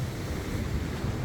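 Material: Nothing is struck.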